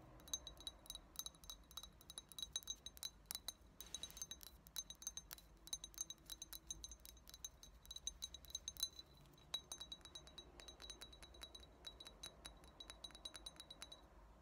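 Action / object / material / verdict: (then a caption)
tap / glass shot glass / glass / none. Long nails tap the body and thick blue base of a small, clear, empty shot glass. The result is a quick, uneven stream of light, bright clinks with a high tone, each one dying away almost at once.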